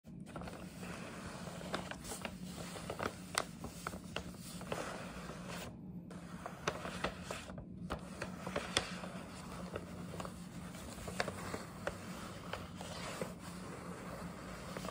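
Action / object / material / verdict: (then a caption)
scrape / paper gift bag / paper / none. Long nails scratch and tap the sides of a hollow, medium printed paper gift bag with a scalloped top edge and gnome pattern, held up in both hands. Dry, crinkly scraping runs throughout, broken by many sharp, short taps over a steady low hum.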